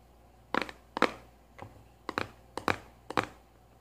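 A small hollow kraft-cardboard cylindrical tube with a lid is held in one hand and tapped with long nails on its top and rim. Six short bursts of dry, hollow clicking taps, some with quick doubled strikes, come at uneven intervals against a quiet background.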